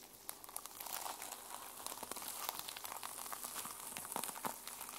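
Long nails scratch across the teal plastic sequin cover of a small notebook held in the hands, flipping the sequins over. The result is a quiet, steady stream of bright, crinkly scratching with quick little clicks as the sequins flip, and almost no low end.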